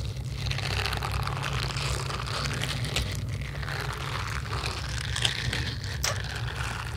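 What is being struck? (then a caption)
Silicone scrubber pad with bristle nubs. Long yellow acrylic nails scratch across the bristle nubs of a small red silicone facial scrubber held in the hand. The result is a steady, dense, bright crinkling scratch over a constant low hum, with a few sharper scrapes standing out near the end.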